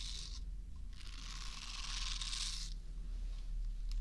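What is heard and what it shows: Fingernails scratch and rub the bristle surface of a small, solid, soft pink silicone facial cleansing brush held close to the microphone and moved from left to right. Brief bursts of bright, papery scratching rise over a steady low hum, with the longest, densest stretch in the middle before it fades to faint rubbing.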